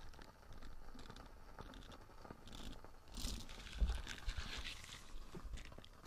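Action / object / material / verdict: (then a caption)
scrape / silicone dish scrubber with nubby bristles / silicone / none. A small light-blue silicone dish scrubber with nubby bristles is held close to the mic while fingernails scratch and flick its bristles. The result is a steady, irregular run of soft crunchy, crinkly scratches over a close, low rumble. The sound gets brighter and louder in the middle, with a few sharper flicks standing out.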